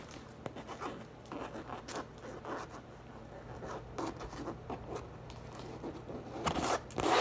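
A hollow teal French-print coated canvas tote bag standing on a table is tapped and scratched on its printed panel with long acrylic nails and fingertips. Quiet, uneven scratchy rasps and soft dry taps follow one another with short decay, ending in a few louder, brighter scrapes.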